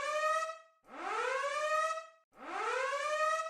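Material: Nothing is struck.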